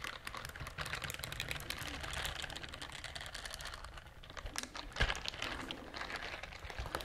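Long nails scratch across the bristles of a pink silicone scrubber glove, making a fast, continuous stream of dry, bright clicking and scraping. The texture is dense and even, with a faint low hum underneath and a sharper tap near the end.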